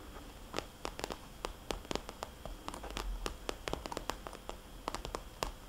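Long nails tap the glossy face of a small red polka-dot vinyl cosmetics bag turned on its side. Quick, irregular taps give short, bright clicks with a soft, hollow tone over a quiet low rumble. Each tap dies away almost at once.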